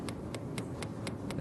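Titanium dental implants set in a reconstructed upper jaw are tapped through opened gums to test whether they have fused with the bone. A series of short, evenly spaced ticking taps sounds over a low background hum. The taps give a nice solid ring, suggesting the implants have integrated.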